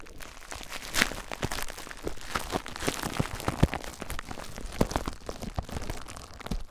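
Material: Plastic.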